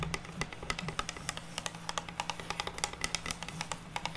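Long natural nails tap and scratch across the surface of a flat, solid, unfinished pine wooden plank resting on a table. A quick, uneven run of sharp, dry clicks with bright, high edges dies away almost instantly, over a faint, steady low hum.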